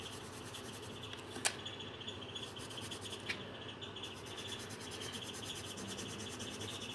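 A coloured pencil rubs back and forth across a thin paper page of a colouring book lying flat on a table, making a steady, soft, scratchy hiss with bright high texture. Two brief sharp clicks stand out early in the clip before the quiet, even scratching continues to the end.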